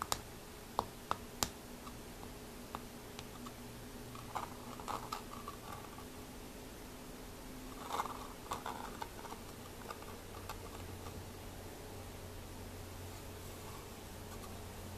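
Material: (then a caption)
Rusted metal. A fingertip taps and scratches the corroded metal screw lid on top of a small cobalt blue glass jar that is rusted shut. Sharp, dry clicks come first, followed by soft, gritty scratching bursts over a low steady hum, all at a quiet level.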